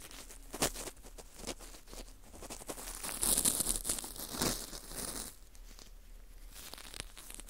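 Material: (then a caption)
Baked wheat gluten. A cotton swab rubs and scrapes inside the hole of a small, hollow ring of dry, porous baked wheat gluten (fu) held in a gloved hand. The result is a close, dry crinkling and scratchy rasping with bright, airy texture and scattered short crackles. It swells into a denser scraping passage in the middle before easing back to softer rubbing.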